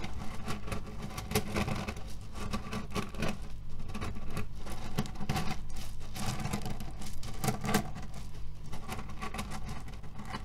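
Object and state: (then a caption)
Cherry pit pillow (cotton bag of cherry stones). A cotton pillow filled with cherry stones is scratched with fingernails and kneaded with both hands. The pits shift and rattle in a dense, continuous crunchy patter of short clicks and rustles, heaviest in the low end and at a steady level throughout.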